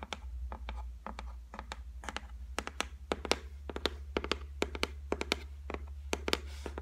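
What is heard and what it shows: Long white nails tap rapidly on the flat, solid top of a white laminated shelf, making a quick run of short, dry, bright clicks that stop almost instantly. A steady low hum sits underneath throughout.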